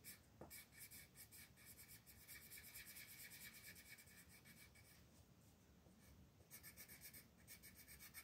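A purple colored pencil is rubbed back and forth over a flat paper mandala coloring book page near the edge of the design, while fingertips steady the sheet. A soft, bright scratchy rasping comes in quick, fairly steady strokes, easing briefly in the middle before picking up again.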